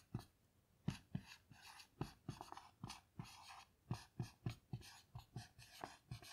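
A black dry-erase marker finishes writing a sentence and underlines a word on a small melamine lap whiteboard lying flat. It makes a quiet, irregular run of short, dry taps and squeaky strokes, with low thuds under brief, bright scratching.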